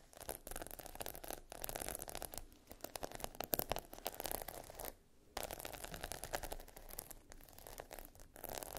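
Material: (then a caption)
Plastic. Long nails scratch and tap across a sheet of small plastic pearl stickers set in a grid on a black backing. They make a dense, dry run of fast clicking and scraping with no ring. The sound drops out briefly twice before resuming.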